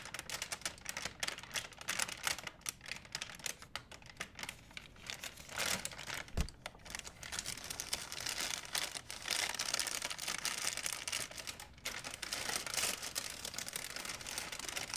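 A large, empty, white printed plastic shopping bag is held up and crumpled by hands, making a continuous bright, crackling crinkle. The dense, sharp crackles swell and fade steadily for the full fifteen seconds, with a short thump near the middle.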